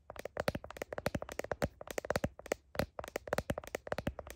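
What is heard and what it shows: Long nails tap quickly on the back of a phone's blue heart plastic case, beside the camera lenses. The result is a rapid, uneven run of sharp, dry clicks with a hollow plastic tone around 560 Hz and almost no ring after each hit.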